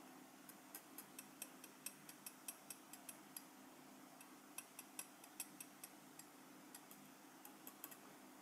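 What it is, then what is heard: Enamel metal lapel pin tapped. A small solid metal lapel pin with a black enamel face, held in the fingers, is tapped and scratched with the forked tip of a steel cheese knife. Around twenty quick, bright, high-pitched ticks die away almost instantly, spaced unevenly over a faint steady low hum.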